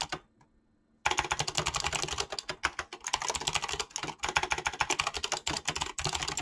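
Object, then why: Mechanical keyboard with clicky switches and PBT plastic keycaps. Fingertips type quickly on a mechanical keyboard with clicky switches and PBT plastic keycaps. After about a second of near silence, a rapid, steady stream of bright, sharp clacks and clicks fills the rest of the clip.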